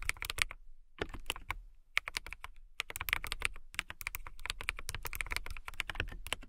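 Long-nailed fingertips type on a transparent acrylic mechanical keyboard with clear keycaps. Quick runs of sharp, bright clacks with a faint low thud under each keystroke are broken by two brief pauses, then continue in a steady stream to the end.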